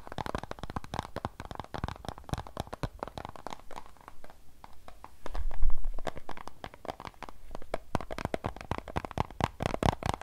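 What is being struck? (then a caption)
Thin plastic water bottle filled with water. Long nails rapidly tap and scratch on a hollow, thin plastic Fiji water bottle filled with water, giving a dense stream of sharp clicks with occasional crinkling of the plastic. Midway, a low, muffled rumble swells briefly before the quick tapping and scratching carry on.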